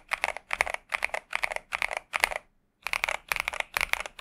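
Steady fingertip typing with both hands on a pink 65% Xinmeng M71 mechanical keyboard with TTC Superman switches and plastic keycaps. Clustered bursts of bright, short plastic clacks with almost no low end come in a quick rhythm, pausing briefly around two and a half seconds before the typing resumes.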